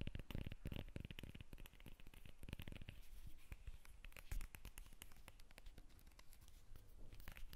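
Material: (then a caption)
Citrus peel. Long nails tap and scratch the peel of a whole yellow lemon held above the microphone. Quick, soft, dry taps come in dense bursts, mixed with rough scratching and a low, muffled thump under them.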